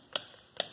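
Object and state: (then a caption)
Loose plastic ring knocking on shock absorber rod. On a 2009 Mercedes B180 with a front suspension noise, the hard plastic ring of a worn foam shock absorber bump stop has come loose and is tapped by hand against the shock absorber rod with the strut removed. Two short, sharp, high-pitched clicks are heard with almost no ring, the knocking it made over speed bumps and rumble strips. The loose ring is a fault.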